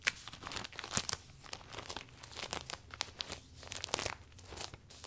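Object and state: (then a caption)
Vinyl umbrella canopy crinkling. Both hands grip, twist and roll the furled vinyl canopy of a closed butterfly-print vinyl umbrella. It makes dense, bright crinkling and crackling with quick crunchy spikes and very little low end. The sound stays quiet and continuous over about five seconds.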